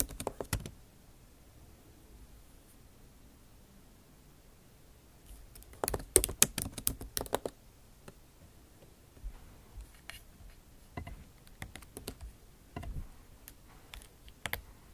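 Long acrylic nail tips type on the bare plastic keys of a MacBook Pro backlit keyboard set in an aluminum body. Quick, bright, clicky taps come in irregular bursts: a short flurry at the start, a louder dense cluster around the middle, then scattered lighter taps toward the end, over a quiet background.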